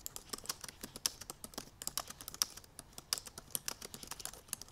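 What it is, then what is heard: Laptop keyboard with plastic keys. Long purple nails and fingertips type quickly on the black plastic keys of a silver aluminum MacBook Pro laptop keyboard. It makes a steady run of short, dry, bright clicks and taps with almost no ring and very little low end.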